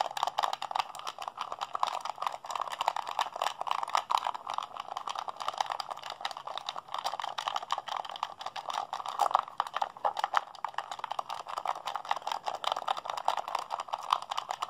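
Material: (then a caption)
Plastic. A hollow blue plastic PlayStation 3 handheld controller is held in both hands while fingertips and thumbs rapidly mash its buttons. The result is a dense, unbroken stream of quick plastic clicks and rattles, centered in the midrange with almost no low end.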